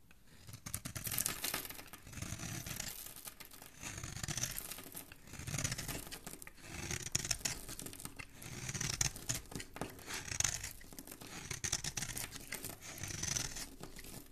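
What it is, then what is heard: Soap bar being shaved with a blade. A metal blade repeatedly scrapes and shaves a solid oval green Dalan soap bar held in the hand, peeling off flakes. Bright, dry scraping rasps come in steady waves of strokes, each swelling and fading with a soft low thud beneath the crisp shaving texture.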